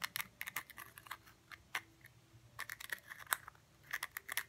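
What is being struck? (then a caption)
Cork stopper on a small glass jar. Fingernails scratch and tap the flat surface of a round cork stopper sitting on top of a small blue glass jar. Quiet, dry, bright clicks and scratchy rasps come in quick irregular bursts with brief pauses, each ending instantly with no ring.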